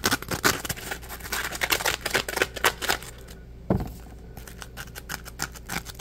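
A dry, porous, palm-sized yellow smiley-face Scrub Daddy polymer foam sponge is tapped with a fingertip, then squeezed in a fist. Rapid, crisp, bright clicking taps run throughout, broken by a short lull and a single soft, low thump. Denser crackling taps follow as the sponge is squeezed.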